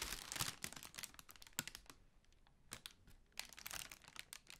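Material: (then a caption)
Tissue paper. Hands scratch and crinkle the surface of a large, hollow, pale pink tissue paper honeycomb ball held in front of the face. The result is dense, bright, dry crinkling and scratching with quick taps, busiest at the start, thinning to a quieter stretch in the middle, then picking up again toward the end.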